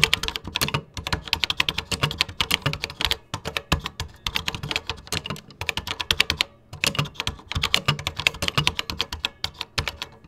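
Fingertips type rapidly on a vintage 1980s plastic computer keyboard with cream plastic keycaps. The result is a dense stream of short, dry, bright clacks with brief pauses in the typing.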